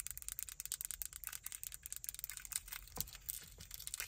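Long acrylic nails tap and scratch the buttons and casing of a small, solid black plastic car remote key fob with a metal key ring attached, held in both hands. A quiet, rapid run of short, bright clicks and scratchy ticks, each dying away almost instantly, with little low-end weight.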